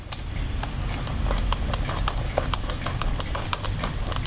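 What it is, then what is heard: Plastic doll head eye mechanism clicking. Fingers click the eye-change mechanism on an orange-haired Blythe doll's hard, hollow plastic head held right next to the mic, and the eyes switch. A quick series of sharp, bright plastic clicks and ticks rides over a steady low rumble.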